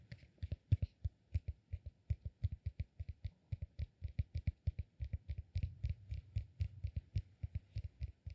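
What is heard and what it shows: A solid, peanut-shaped cork massage ball is held upright in one hand while the fingernails of the other hand scratch and tap its top. The result is a steady run of quick, quiet taps: dull, low knocks with faint bright nail clicks that stop almost instantly.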